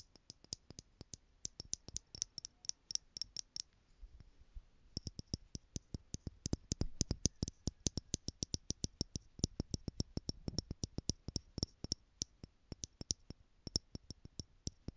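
Long painted nails tap quickly on the lid and sides of a small tower of screw-together clear plastic stacking jars, hollow and partly filled with gold glitter. The steady stream of short, dry clicks has a bright top and a soft low knock, with a brief pause near the four-second mark before the tapping resumes.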